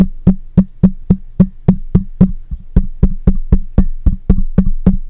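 The metal mesh grille of a black microphone is tapped on the side and top with the fingertips and nails of one hand. About 20 short, dull, thumpy taps land at roughly four per second, each with a low, woody body and a brief click that dies away almost at once.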